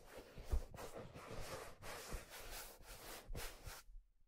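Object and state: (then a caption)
Leather fedora hat. Fingertips rub and stroke the surface of a black leather fedora with a hollow crown and brim, making soft, breathy, broadband swishes in repeated strokes. A few low, dull taps sound beneath the rubbing before it stops and falls silent.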